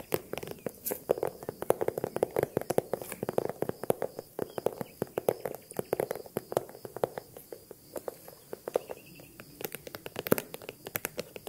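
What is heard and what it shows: Rapid, uneven tapping on a small handbag produces a dense stream of short, dry clicks with a soft resonance around 440 Hz and bright, sharp attacks. The taps come in quick clusters with brief pauses and do not ring on, and a faint steady high tone runs underneath.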